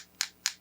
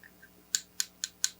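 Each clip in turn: First: heavier wooden knitting needle, dull tap. Second: bamboo knitting needle with a light, bright tap.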